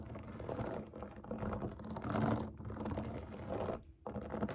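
Long nails tap and scratch the hollow bubbles of a large round rainbow silicone pop it fidget toy resting on a table. The result is a dense, irregular stream of soft hollow taps and scratchy rustles with a low, muffled body and a faint hiss on top. The sound drops briefly near the end before resuming.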